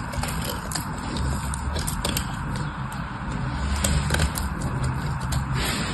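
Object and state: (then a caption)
Bar soap being cut and scraped. A metal knife slices and scrapes pieces off a solid orange soap bar held in one hand. The sound is a steady, crumbly scraping with a low rumbling body and scattered bright, crisp clicks as the blade cuts through.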